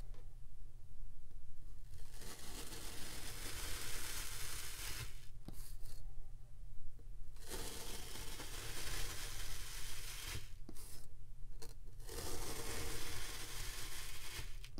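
A wavy metal crinkle knife cuts repeatedly through a solid dome of purple kinetic sand. The cuts make soft, gritty tearing and crunching sounds with a steady low rumble underneath, in long stretches broken by a few short quieter pauses.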